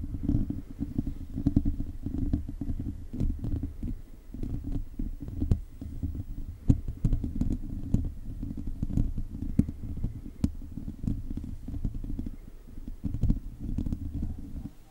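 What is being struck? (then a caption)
Metal mesh microphone grille. Fingertips scratch a hollow silver metal mesh microphone grille while the other hand reaches forward. The result is a dense, continuous, boomy low rumble of scratching, broken by quick, dry clicks and faint bright ticks, rising and falling in loudness without stopping.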